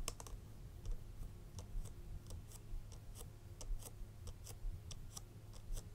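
Long red acrylic nails tap and scratch the flat sides of a small, hollow, red printed cardboard Frederic Malle perfume box held upright in one hand. The result is an irregular series of quiet, crisp, bright clicks that die away almost instantly, over a steady low hum.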